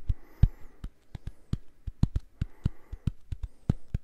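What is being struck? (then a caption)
Silicone cleansing pad. Fingernails tap and scratch the surface of a small purple silicone facial cleansing brush pad held in both hands close to the mic. Eighteen short, soft, muffled taps land in an uneven rhythm, with faint scratching between them.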